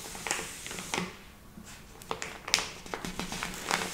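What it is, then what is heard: Plastic bag of flour. A medium-sized soft plastic package full of lupin flour lies flat while both hands with long red nails press, rub and tap its surface. Sharp, bright crinkles and taps stand out over softer squishing and rustling, with a quieter stretch in the middle.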